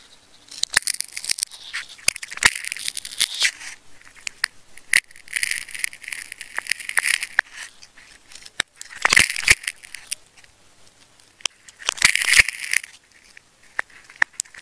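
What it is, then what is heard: Plastic tape ball being cut and peeled. A metal craft knife blade cuts and peels layers of a solid pink and black wound plastic tape ball with a red core while fingertips grip it. Bright, crinkly scratching and tearing crackles come in several bursts, broken up by sharp, short clicks and snaps with almost no low end.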